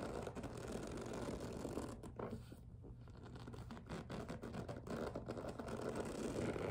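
Long nails tap and scratch the top edge of a medium, hollow pink and clear PVC vinyl two-tier cosmetic case resting on a table. The result is a steady, quiet stream of rapid scratchy taps and scrapes with a dull low-mid body and little brightness, easing briefly in the middle before building again.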